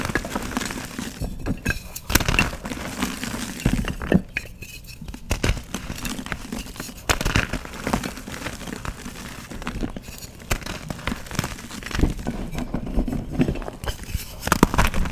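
Hands break and crumble dry, brittle chunks of pressed gym chalk donut between fingers and palms, with the powder falling onto a chalk-covered tray. A steady stream of dense, dry crunching and crackling runs throughout, with sharp snapping bursts and soft low thuds as the solid chalk gives way and crumbles.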